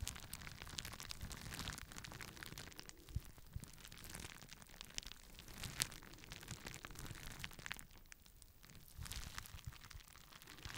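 A clear plastic bubble wrap sheet is held in both hands while the fingers squeeze and pop the bubbles. It makes a quiet, steady stream of crinkling and crackling with sharp, bright pops scattered throughout, over a soft low rustle.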